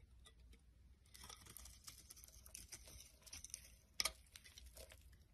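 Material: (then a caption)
Soap. A utility knife blade carves and scrapes the face of a solid rectangular soap bar, orange at the rim and pink inside, held in the hand, shaving it into flakes. The sound is a quiet, bright, crisp run of scraping and crackling, with a sharper, louder snap near the end.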